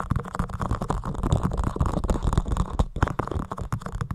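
A white, soft, porous foam windscreen on a microphone is scratched and rubbed with the fingertips of both hands. The sound is a fast, dense run of muffled scratching and crunching strokes with a heavy low, boomy rumble and short, sharp transients that die away almost instantly.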